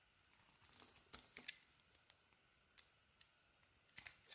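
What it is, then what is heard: Bar of soap being carved. A teal and cream bar of soap is scraped and carved with a utility knife blade, giving quiet, dry, crisp scraping and crackling sounds. Short bright ticks and scrapes come in scattered bursts over a faint hiss, with almost no low end. The loudest clusters of cuts fall near the start and again toward the end.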